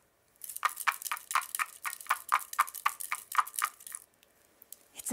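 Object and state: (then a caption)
Plastic tube shaker with small loose contents. A tall, narrow, hollow clear plastic tube with a blue plastic cap, partly filled with small loose pieces, is held upright in one hand and shaken. A quick, fairly steady series of bright, crisp rattling bursts runs for about three and a half seconds, then stops, leaving near-silence and a faint rustle at the end.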